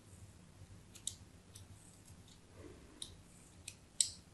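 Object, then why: Bar of soap cut with a metal blade. A metal blade scores diagonal lines across the face of a solid white embossed soap bar held in the hand. Quiet, bright, crisp scraping clicks come at irregular intervals over a faint low background, with the last stroke the loudest.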